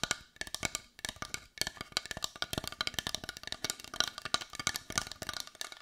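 Long white nails tap rapidly and irregularly on a palm-sized, solid-looking brown carved wooden heart held in both hands. Each tap is a short, dry, bright click with a hollow, woodblock-like tone around 1.4 kHz, little low end and almost no ring.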